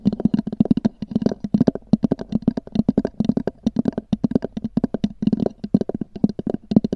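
Long nails on both hands tap rapidly on a small black oval EVA hard-shell zippered case with a textured fabric-covered shell, resting on a fur rug. The taps are dry and clicky, with a hollow low-mid body and faint bright tips. They die away almost instantly and come in quick irregular bursts with brief pauses between them.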